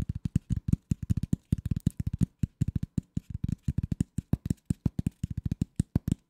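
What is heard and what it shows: A flat piece of corrugated cardboard lying under the microphone is scratched with fingernails in a quick, uneven rhythm. About 43 short, dry strokes sound as soft low thumps with faint bright ticks, each dying away at once with no ring.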